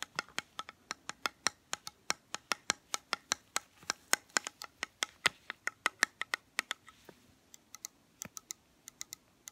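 Painted fingernails tap and scratch around the rim and sides of a small round metal tin holding a soy candle, its lid off with the wax visible. About forty-four quick, bright, dry clicks come in a steady patter with almost no ring. Near the end there is a brief soft scratch, and the last taps are sparser.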